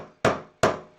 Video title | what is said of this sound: HummerFixes - H2 Windshield Wiper Motor Repair - Part 2 Procedure | tap it home and you'll hear it hit the end there's an end stop you'll hear that